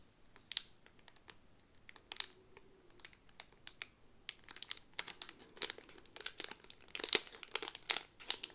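A Cinderella pin on a pink cardboard card inside a clear plastic bag is turned over, and fingertips and long nails crinkle the plastic sleeve. Quiet, bright, crisp crackles and short sharp ticks come in scattered bursts, growing denser and louder in the second half, with almost no low end.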